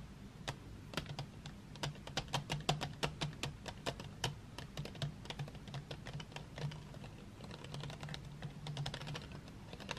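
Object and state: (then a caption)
Wooden pencils in a metal tin. Fingertips and long nails tap and scratch across a row of painted wooden graphite drawing pencils lying in an open metal tin tray. The result is a quiet, irregular stream of quick, bright clicks over a steady low hum, with each tap dying away almost at once.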